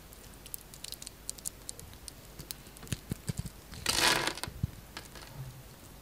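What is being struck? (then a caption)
Bar of soap scraped with a knife blade. A utility knife blade scrapes across the crosshatch-scored surface of a solid green bar of soap, breaking off diamond-shaped chips. A steady run of short, crisp clicks and crackles builds to one louder, bright rasping scrape about two-thirds of the way in, then settles back into a few soft ticks.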